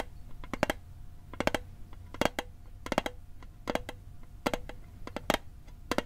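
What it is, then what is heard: Metal mint tin. A small hollow metal Altoids mint tin, held over a microphone, is tapped with fingertips and nails in quick, irregular clusters. Each tap is a sharp, bright metallic tick with a faint tinny tone around 600 Hz that dies away almost instantly, over a quiet background hiss.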